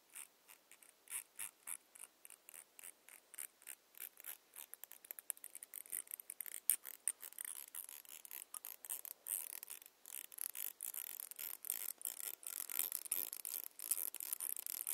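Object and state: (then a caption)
Plastic tail comb. Long nails scratch and tap along the fine teeth of a long, solid, clear glitter plastic tail comb. The result is a quiet run of crisp, bright ticks and scratchy rasps with no low end. The strokes start spaced apart and grow quicker and denser toward the end.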